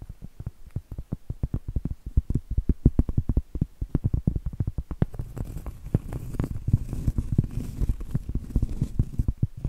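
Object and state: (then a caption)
Cork trivet. Long acrylic nails tap and scratch the surface of a round, flat, solid cork trivet held upright. Rapid, soft, dull thuds with no ring come first, then partway through a denser, continuous scratching texture joins the quick taps.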